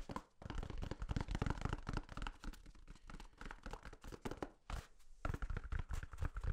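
A full roll of white toilet paper with a hollow core is held close and tapped and scratched with fingertips. Soft, dull, low-heavy thumps come in quick, uneven bursts, mixed with dry papery scratching and crinkling. Each tap dies away at once with no ring.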